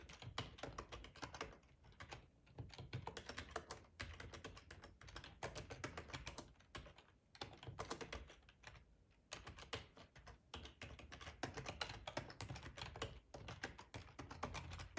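Fingertips type on a black plastic ergonomic split keyboard with a hollow housing, resting on a cloth tablecloth. The result is a steady stream of quick, dry key clicks with a low, hollow thump under them, broken by a few brief pauses. Each tap dies away almost at once, with a clicky edge around 2.9 kHz.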